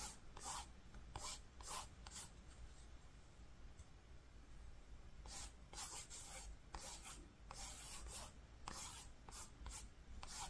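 Fingertips and short nails trace and rub across a flat grey-green woven cotton fabric lying beside pink faux fur. Short, bright scratchy strokes come in bursts over a steady low hum, with a quiet pause in the middle.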